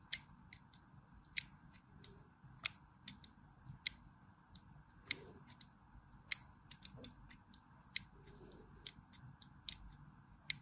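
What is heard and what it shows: A thin metal blade scores diagonal lines across a solid cream bar of soap held in the palm. About 24 short, crisp, bright scraping clicks come at an uneven pace over a faint steady hiss, each stopping almost instantly.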